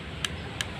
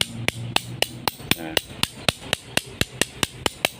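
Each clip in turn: First: Two faint fingernail ticks on a machete blade die at once, no ring: plain iron, little steel. Second: About sixteen sharp metal clacks on a machete blade, each dying instantly with no ring: dull, low-grade iron plate.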